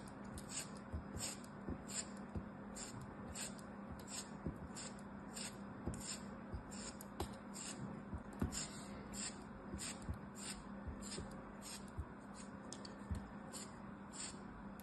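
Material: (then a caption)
Kinetic sand. A small, solid, cupcake-mold-shaped piece of purple kinetic sand is held in the fingers while a small black blade cuts and scrapes thin slices off it. A steady series of short, crisp, gritty scrapes and crunches with bright edges plays over a faint, constant low hum.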